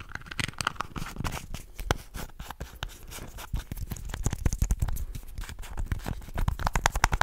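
Fingertips and nails rapidly scratch and rub a small, hollow red and white plastic contact lens case with round red screw caps, held close to the mic. The result is a dense, fast stream of dry clicks, scrapes and crunchy rubbing with a heavy low-end thump and no ring, growing busier and louder toward the end.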